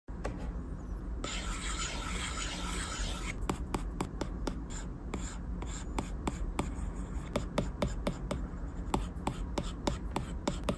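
A plastic Apple Pencil tip taps and scratches quick circular strokes across a large, solid, flat glass iPad screen. A bright, scratchy rub of about two seconds is followed by a rapid series of short, crisp clicks over a steady low hum.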